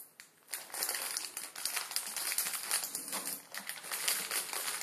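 A full plastic-film ramen packet, flipped over on a wooden table, is crinkled and pressed with fingertips. After a brief quiet start, a dense, continuous run of bright, crackly crinkling fills the clip, with almost nothing in the low end.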